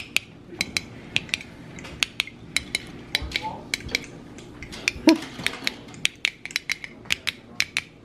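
Metal lids on glass jars of freshly water-bath-canned blackberry jam are tapped one after another to check the seals. Each tap gives a bright, short, high "ting" that dies away almost at once. The lids all ring clear rather than hollow, showing every jar has sealed.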